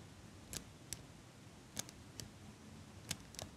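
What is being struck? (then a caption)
Small metal eyelash curler. A small metal eyelash curler is held above the mic and squeezed by fingers with long pink nails. It gives seven quiet, sharp, bright clicks at an uneven pace over a soft hiss. Each click dies away almost at once.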